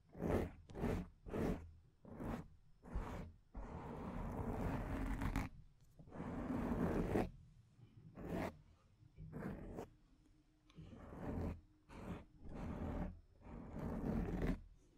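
Long acrylic nails scratch the surface of a soft, porous black foam microphone windscreen. Short, quick scratching bursts alternate with longer sustained rubbing passes. The sound is a muffled, low-heavy, zipper-like scrape with little brightness.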